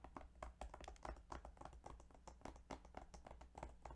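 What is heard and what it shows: Fingertips tap rapidly and unevenly on the plastic video game case of Yu-Gi-Oh! Duelist of the Roses, making soft, short clicks with quick decay over a steady low hum.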